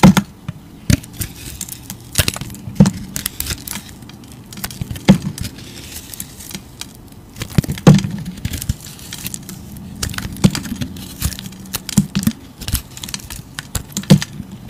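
A utility knife blade slices the multicolored waxy crust off a solid oval soap bar held in the hand. Sharp, crisp cracks and scraping crackles come in irregular bursts over a low, dull body, with short bright snaps that die away quickly.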